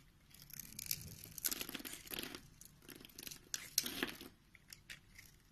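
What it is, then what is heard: Soap bar being cut. A metal utility knife blade scores a grid into a solid, hand-sized pink soap bar held in the palm, then chips it into small cubes. Soft, bright scraping and crisp crumbly cutting come in short uneven bursts. The quiet sound dies away quickly between strokes.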